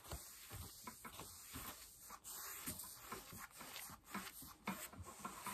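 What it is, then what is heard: Denim jeans being scratched. Long light-blue nails scratch the thigh and knee of worn blue cotton denim jeans on a raised leg. The result is a quiet, continuous, hissy rasp of fabric with bright high-end scratching and soft low thuds as the strokes change direction.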